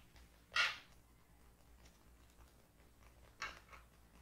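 Long painted nails tap and scratch the front of a closed, book-sized hardcover paper notebook with a floral printed cardboard/paper cover, lying on a wooden table. Two quiet, bright, crisp scratchy taps stand out, at the start and near the end, the second followed by a softer brush. Each fades quickly into a faint background hiss.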